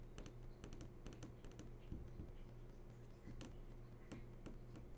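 Several long nails tap in a quick, fluttering pattern on the glossy screen of a large flat-screen TV that is switched on. The taps are short, bright clicks over a steady low hum.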